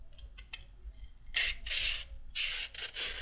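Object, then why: Raw carrot scraped with a peeler. A raw carrot, held upright, is scraped repeatedly with a handheld peeler, and long peel strips pile up on the table. After about a second of faint ticks and light handling clicks, bright, rasping scrape strokes come in quick succession, each a dry, hissing shave with little low end.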